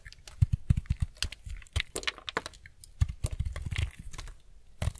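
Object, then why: White bar soap cut with a knife blade. A utility-knife blade shaves the corner and edges of a solid, semi-dry white bar of soap held in the hand. It makes rapid scraping cuts as a quick run of short, dry, crisp clicks and crackles. The clicks have low thumpy weight and bright, papery edges, and each dies away at once.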